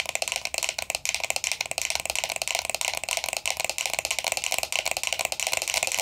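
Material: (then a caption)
Metal. Long nails rapidly tap and scratch a closed, hollow, round vintage gold-tone metal powder compact with a black rose design. The result is a dense, continuous stream of sharp, bright clicks and raspy scratches with almost no low end. Each hit dies away almost instantly, with a light metallic tone.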